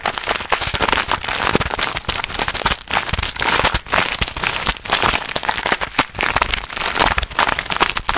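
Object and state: Plastic snack bag.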